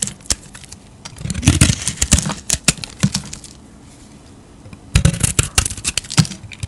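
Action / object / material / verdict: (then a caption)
scrape / bar of soap shaved with a metal blade / soap / none. A solid square bar of soap, yellow inside with a blue-painted stamped face, is held in a palm with long nails nearby and shaved with a metal utility-knife blade, peeling off thick waxy curls. Dense bursts of crisp scraping and crackling clicks with a dull low body fill the first half, go quiet briefly, then return near the end.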